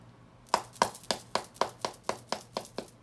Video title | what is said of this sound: Glove Break Down-Episode 12 NITRO Does Hockey Podcast | You can hear here that there's a lot more protection in this